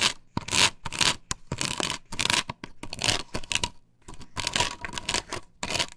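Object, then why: Plastic stencil glued to a wooden board. Long pointed nails scratch across a large, flat, white plastic stencil with a chevron cut-out pattern, glued solid and flat to a wooden board. The result is a run of bright, hissy scratching strokes in quick bursts with short pauses between them, carrying little low end.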